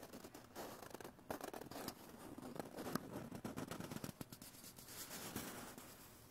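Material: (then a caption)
Cardboard. A small, hollow, empty white cardboard toilet paper core is held up close and tapped and scratched with fingertips. The sound is a run of dry, papery scratches mixed with soft, hollow taps that stop almost instantly, with a faint low-mid body under the rasping texture.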